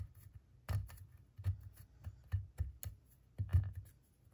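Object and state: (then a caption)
Plaster dig block being scraped. A wooden pick scrapes and scratches at a solid plaster gemstone dig block around the embedded gems, with plaster dust visible. Short, dry, low scratching strokes come in uneven bursts, with faint brighter crackle on the stronger strokes.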